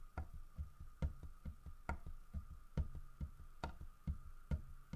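Fingernails tap on a large, solid carved wooden bear figurine, striking both the carved fish it holds and the bear's body. The result is a quick, uneven series of short, dull, low knocks that die away almost instantly. A faint steady tone hums underneath.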